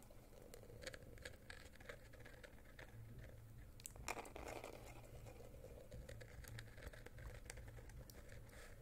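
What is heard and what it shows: A small rectangular cardboard gift box with a gold glitter-coated surface and a silver edge, likely hollow, is held in both hands close to the microphone and tapped and scratched with fingernails. Quick, soft clicks and scratchy rustles patter on without pause over a steady low hum, with a brief louder crinkly burst near the middle. The sound stays quiet and close throughout.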